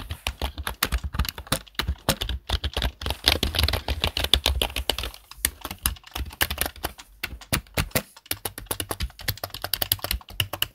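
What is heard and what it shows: Fingertips tap the keys of a black plastic desktop keyboard in fast typing, making a dense, steady stream of short, sharp clicks. Each keystroke pairs a bright click with a low thump and dies away almost at once, with only brief pauses in the run.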